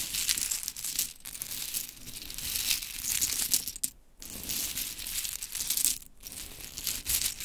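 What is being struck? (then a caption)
Small wooden clothespins with metal springs. A pile of small painted pink wooden mini clothespins with tiny metal springs, resting on a glittery fabric mat, is raked, scratched and scooped by long chrome stiletto nails. The pins clatter together in dense, bright, crinkly clicks with little low end. The activity continues throughout, with brief pauses near four and six seconds.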